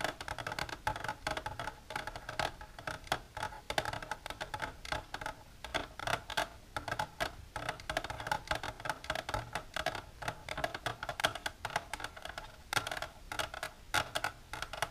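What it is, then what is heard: Plastic container tapped with nails. Long silver nails tap rapidly and continuously against the inner walls of an empty, clear, shallow plastic tray. Each tap gives a short, hollow plastic click with a bright edge, centered around 630 Hz and dying away almost instantly, forming a steady, dense patter throughout.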